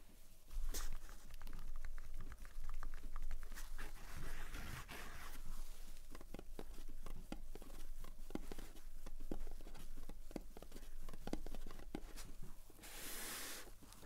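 Long painted fingernails, on hands in fingerless gloves, tap and scratch the lid and sides of a small, closed, rectangular printed cardboard "Age of War" game box lying on a dark table mat. A quick, dense patter of light, dull taps mixes with brief scratchy rasps over a low, steady rumble. The hollow box, which probably holds its contents, gives short, muffled knocks with almost no ring.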